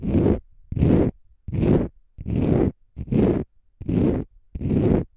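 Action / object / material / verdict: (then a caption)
scrape / konjac sponge / konjac fibre / none. Short fingernails scratch a palm-sized, solid, porous pale-green dry konjac sponge in fast strokes. Seven separate bursts of rough, zipper-like scraping come at a steady pace, each a dense, gritty rasp weighted toward low and low-mid tones with a faint airy hiss up high. Brief near-silent gaps fall between them.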